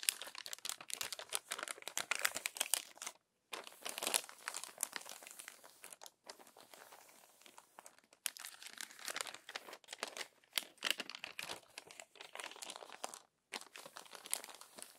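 Crumpled glossy magazine pages are smoothed flat with the palms and fingers, giving dense, bright rubbing and crinkling. The crackles come in bursts separated by a few brief silent pauses. There is almost no low-end body.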